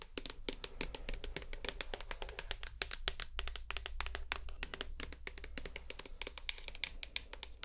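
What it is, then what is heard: Plastic shower gel bottle. Long nails tap rapidly on a full white plastic shower gel bottle, striking its base and its front near the black cap. Each tap is a short, dry, bright click that dies away almost at once, over a steady low hum.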